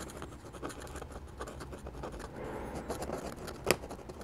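Fingers hold a dark-handled dip pen whose steel nib scratches hatching lines across a sheet of flat drawing paper. Quiet, dry, bright scratching strokes run back and forth over a low background hum, with one sharper, louder scratch near the end.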